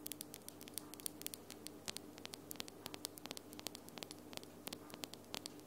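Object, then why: Long acrylic nails tapped nail against nail. Long almond-shaped glitter acrylic nails are tapped nail against nail with both hands. Many quick, bright, dry clicks with almost no ring follow each other in an uneven, rapid patter. Underneath, a quiet steady hum and hiss continue throughout.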